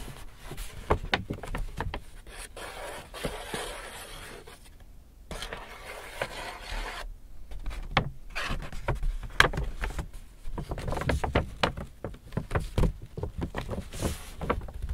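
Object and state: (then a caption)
Empty paper shopping bag. Hands grip the sides of a large, empty white Hudson's Bay paper shopping bag, flexing and rubbing the paper. Dry rustling and crinkling are punctuated by many sharp crackles and soft low handling thumps, with a couple of brief near-silent pauses.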